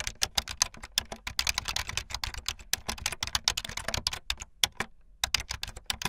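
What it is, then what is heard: Plastic keyboard. Fingertips with long light-blue nails type fast on a full-size plastic keyboard with white, blue and yellow plastic keycaps and a blue backlit frame. The result is a rapid stream of bright, sharp, clicky key taps that die away almost instantly, with two brief pauses near the end.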